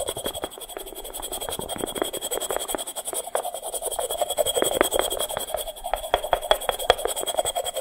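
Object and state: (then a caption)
Dry unglazed terracotta pot. A small, hollow, unglazed, dry terracotta clay pot made of stacked sections is held close to the mic and scratched and rubbed with fingernails. The result is a dense run of quick, dry scratches and rasps centred in the midrange around 500 Hz, with a faint steady high tone underneath and almost no low end.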